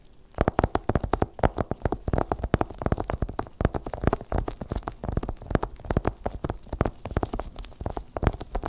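Fingertips in black nitrile gloves tap rapidly on a small, long, closed, hollow white cardboard Apple Pencil box, probably still shrink-wrapped, which is held upright at first and then lies flat on a white blanket. Dozens of quick, dull, hollow taps run in a dense, uneven stream with a low, drum-like thump and almost no ring.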